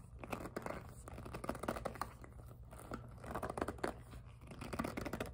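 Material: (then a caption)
PVC plastic. A hollow, glossy pink jelly PVC handbag is turned in the hands while long nails tap rapidly on its plastic faces. The result is a fast, irregular run of short, dry clicks with crinkly, scratchy handling noise between them, over a steady low hum.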